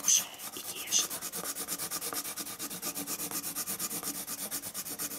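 A colored pencil held in the hand scratches across a flat sheet of white drawing paper lying on a wooden table as it draws and shades lines. Two louder, sharper strokes open the clip, followed by a steady run of quick, bright, dry back-and-forth shading strokes with almost no low end.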